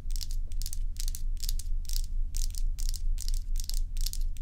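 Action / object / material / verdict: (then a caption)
scrape / large block of ice / ice / none. Long acrylic nails on both hands scratch a large solid block of ice shaped like a dome. Bright, gritty rasping strokes come in quick, fairly regular bursts, about two a second, over a steady deep low hum.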